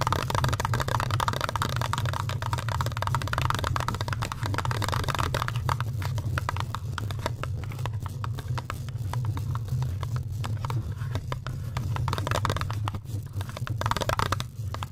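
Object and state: Metal microphone grille.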